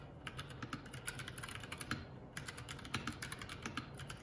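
Fingertips of both hands type continuously on a Keycool K84 75% mechanical keyboard with plastic keycaps. The result is a quiet, rapid stream of sharp, bright clacks with a low thock beneath each keystroke, pausing briefly near the middle before resuming.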